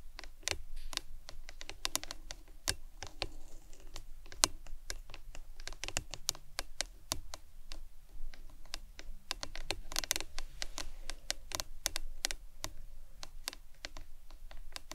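Long acrylic nails tap rapidly and continuously on a hollow, printed plastic lemonade tumbler cup with a green lid, lying on its side on a towel. Many sharp, bright, clicky taps come in a quick, uneven rhythm. Each dies away almost instantly over a soft low background.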